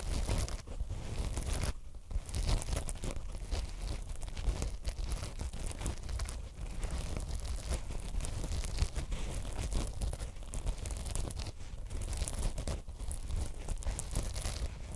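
Long acrylic nails, black matte and pink glitter, from two pairs of hands scratch and rub directly on the two soft, porous black foam windscreens of a binaural microphone. Heard up close, it is a continuous dense, low, muffled scratching and crackling with rapid rustling bursts throughout, with little high sparkle.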